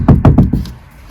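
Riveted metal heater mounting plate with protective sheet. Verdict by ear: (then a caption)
Tight. Knocks on the installed base plate of a Truma S2200 heater in a campervan, whose protective sheet is riveted to the angle bar with three rivets. The knocks are dull, low thuds with no lingering resonance, showing the plate is securely fixed, stable and tight.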